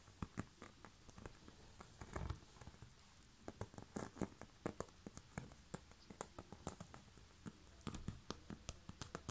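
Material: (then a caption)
Bamboo. Long fingernails scratch and tap across the woven surface of a hollow, round, coiled woven bamboo basket lid with a knob, first on the underside and then on the top. The result is a quiet, irregular string of short, dry clicks with almost no ring, mixed with a soft scratchy rustle over the weave.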